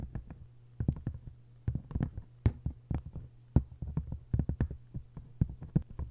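Long nails scratch and tap the front and back cover of an open, face-down hardcover book with a textured paper jacket. The result is rapid, irregular dull thuds with very short decay, heavy in the low end over a faint steady low hum.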